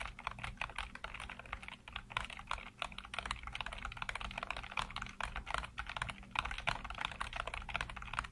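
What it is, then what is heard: Plastic computer keyboard. Fingertips rapidly tap and type on a full-size black plastic computer keyboard with hollow keycaps. A steady stream of short, hollow plastic clicks with a bright edge lasts throughout, each dying away almost instantly, over a faint continuous low hum.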